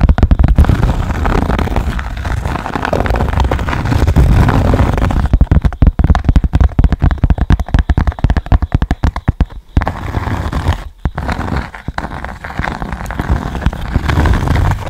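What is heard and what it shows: A rectangular cork board with a small yellow square on it is held close to the mic and scratched and tapped with long nails. The first few seconds are a steady, muffled scratching rumble. It then turns into rapid, dense tapping with brief pauses, all deep and dull with almost no high end.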